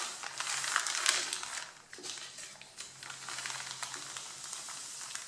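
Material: Paper.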